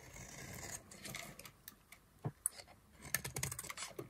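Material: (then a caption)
Soap. A solid yellow oval bar of dry soap, held in the hand, is scraped and carved with a black-handled knife. A soft, steady scraping hiss opens the clip, then gives way to a string of dry, bright crackles and short sharp clicks as flakes are cut away.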